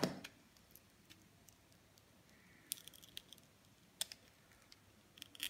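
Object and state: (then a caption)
Glitter-coated soap bar being scraped. A utility knife blade shaves and scrapes the glitter coating off the face of a hand-held oval solid soap bar with a green inside. After a louder opening scrape, there are quiet, crisp scratches and bright clicking flicks with brief pauses between them.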